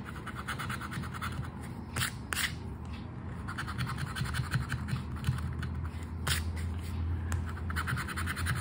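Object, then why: Paper scratch card scraped with a token. The scratch-off coating of a flat paper Aranha da Sorte scratch card, held down by the fingers, is scraped with the edge of a red and gold token. Steady, rough scratching runs throughout, with a low rumble underneath and occasional brief, bright scraping streaks.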